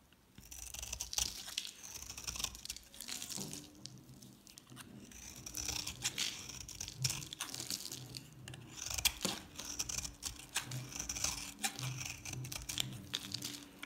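A palm-sized solid bar of dry yellow soap with a black painted coating is held in the hand and shaved into flakes with a metal utility knife blade. Repeated dry, crackly scraping strokes come through bright and crisp with a gritty, tearing texture, rising and falling in waves over a faint low hum.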